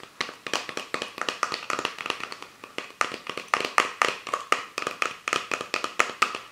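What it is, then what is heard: Empty plastic soda bottle. Fingertips and nails tap rapidly on the ridged body and label of an empty clear plastic PET Fanta soda bottle with its cap on, held over a book. The result is a quick, uneven run of dozens of short, dry, hollow clicks with a light plastic ring near 1.2 kHz and a bright crackle. Each tap dies away almost instantly.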